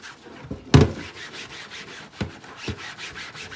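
A flat, thin, translucent white plastic cutting board, solid, wet and soapy, is held in a sink and rubbed and scrubbed with a pink sponge by rubber-gloved hands. Soft, steady rhythmic scrubbing strokes fill the clip, broken by two dull, low thumps, a loud one early and a fainter one near the middle.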